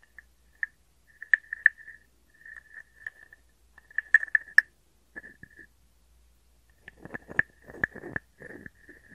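A hand-sized hollow carved wooden frog guiro, held in the palm, is played with a wooden stick that scrapes its ridged back and taps its body. Short, dry, bright taps with a steady woody pitch near 1.8 kHz come in loose, irregular bursts. Later, rougher rasping scrapes with a lower, gritty texture break in between the taps.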